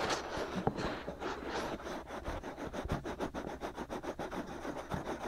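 Fingertips rub and scratch the white, hollow silicone ear molds of a binaural microphone while hands grip the ears. The result is a quick, uneven series of close, soft scratching and rubbing strokes, with dull low thumps under the bright friction noise.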